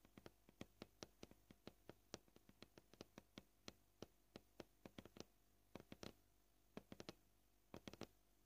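Painted nails tap the surface of a white plastic cutting board in an extreme close-up, producing about 36 short, dry clicks at a gentle but varying pace. Each tap is crisp and bright with almost no ring, spaced over a low steady background hum, with occasional quick clusters and pauses between runs.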